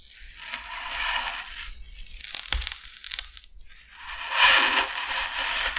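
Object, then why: Expanded polystyrene sheet scraped with a knife tip. The tip of a metal utility knife blade is drawn along the surface of a large, flat, solid white expanded polystyrene sheet, scratching and scoring it. The result is bright, crunchy, squeaky scraping that swells and fades in waves, with a few sharper ticks in between.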